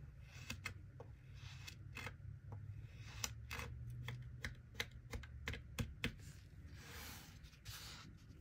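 A gloved hand repeatedly cuts and scrapes a small solid mound of golden kinetic sand with a small plastic knife, breaking pieces off the block. A series of short, crisp, bright crunching clicks sounds over a steady low rumble, with softer hissing scrapes between them.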